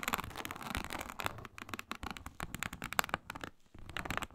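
Long nails scratch vigorously across a flat, iridescent, embossed reptile-pattern faux snakeskin synthetic leather mat. The result is a dense run of rapid, dry crackling scrapes with bright, hissy texture, alternating bursts and brief quieter gaps.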